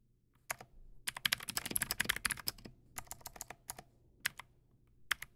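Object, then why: Plastic mechanical keyboard. Fingertips type on a Teamwolf Zhuque+ X08, a backlit tenkeyless mechanical keyboard with white plastic keycaps and clicky blue switches. Sharp, bright clicks come in a dense flurry, then sparser strokes with short pauses. Each keystroke is crisp and dies away almost instantly.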